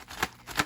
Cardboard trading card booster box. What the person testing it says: you could feel like cards are smacking at the back of the cardboard here